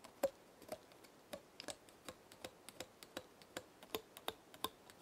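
A small, dark brown, dry pinecone is held between the fingers while a long nail flicks and scratches its woody scales. The result is a quiet, uneven run of short, dry clicks and ticks with bright edges and almost no ring or low end.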